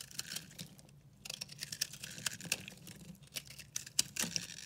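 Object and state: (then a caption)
Dry soap bar. A metal utility-knife blade scrapes and carves a hand-held solid bar of dry, yellow-green mottled recycled soap, shedding powdery crumbs. Quiet, bright, crisp crackling and scratching ticks come in quick irregular bursts with no ring after each scrape, over a faint low hum.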